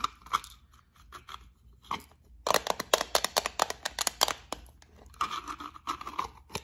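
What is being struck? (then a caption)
Small plastic bead case. A small rectangular clear plastic box partly full of gold beads is held up and scratched and tapped with long acrylic nails. Quick, dry clicks come in uneven bursts, with a dense flurry in the middle and scratchy rasps near the end. The sound is bright and crisp with almost no low end, and each tap dies away at once.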